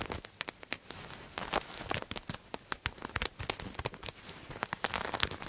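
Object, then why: Patterned fabric garment. Fingernails scratch and crinkle a purple patterned fabric garment held in both hands. Rapid, crisp, bright scratching bursts crackle over a soft, continuous rustle. Each burst is dry and stops almost at once.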